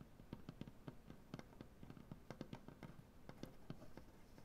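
Long dark-painted nails tap across a solid light wood butcher block tabletop. The result is a quick, irregular series of dry, short taps, each with a low woody knock and a faint bright click over a soft background hush.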